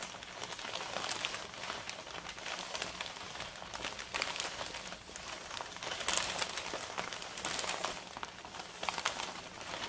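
Both hands rub and scratch the surface of a large, empty, flat brown kraft paper Staples mailer bag with their fingertips and long red nails. The result is a steady, dense crinkling and scratchy rustle that is bright and papery, with almost no low end. Small swells in loudness come and go throughout.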